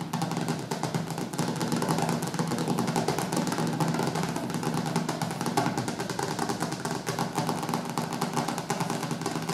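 Fingertips and nails rapidly tap and scratch the glossy dark cover of a large, solid hardcover cookbook with white edges, resting on a wooden table. The result is a dense, steady stream of quick, dull taps and scratchy rustles with a woody low-mid body and little bright top end, holding an even level throughout.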